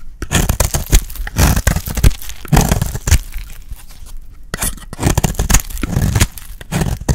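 A dry pink bar of soap, held in the hand, is shaved with a metal blade. Repeated short, crisp scraping and crunching cuts follow one another in quick bursts, each with a dry, brittle texture, a deep thud-like body and a bright edge. There are brief quieter pauses between runs of strokes.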